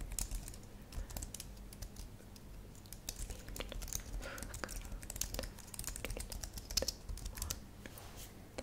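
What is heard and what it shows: Fingertips with long nails type rapid taps on a white and lilac plastic low-profile computer keyboard. The sound is a dense run of short, dry, bright clicks with almost no ring, over a steady low background hum.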